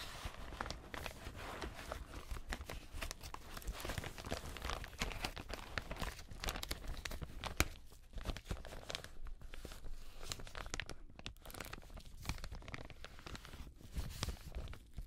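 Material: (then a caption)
Plastic. Black leather-gloved fingertips crinkle, rub and pinch a large, empty, thin-walled translucent frosted plastic zip-lock bag, working along both the film and the zipper edge. The result is a steady, dense stream of crackly crinkling and soft tearing-like rustles with quick, dry snaps, over a constant low hum.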